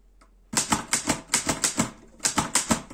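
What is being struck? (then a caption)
Metal portable typewriter. Fingertips type on the keys of a black metal Erika 5 portable typewriter, with 13 sharp, bright clacks after a brief quiet start. Each strike has a solid lower body and fades quickly, with a short pause in the middle of the run.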